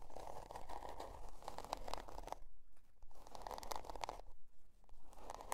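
Long dark nails scratch the scale-pattern cardboard cover of a spiral-bound notebook resting on faux fur. The result is quiet, dry, rasping scratches in quick, uneven runs, with a midrange scraping tone and a low rumble underneath. Two brief pauses break up the runs.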